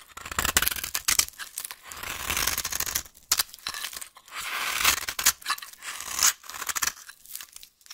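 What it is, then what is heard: Dry soap bar scraped with a knife. A solid, dry orange vintage soap bar held in the hand is scraped and rasped with a knife blade into fine crumbs. Bursts of bright, gritty scraping and crisp crumbling repeat with short pauses between strokes, with almost no low end.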